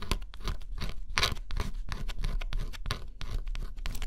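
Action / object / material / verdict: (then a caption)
scrape / cardboard puzzle with scratch-off coating and metal stylus / cardboard / none. A small metal stylus held in the fingers scratches the black scratch-off coating on a flat, solid cardboard jigsaw puzzle. Quick, dry scraping strokes come one after another over a low, dull base, each with a bright, papery crackle.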